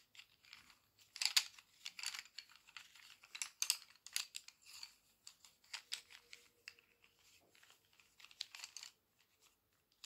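A handful of about fifteen solid wooden colored pencils is held in one hand and shuffled and fanned with fingertips and long press-on nails, so the pencils clack and rub against each other. Quiet, bright, dry clicks and scratchy rustles come in irregular bursts throughout, with almost no low end and very little ring after each tap. A faint steady hum sits underneath in the second half.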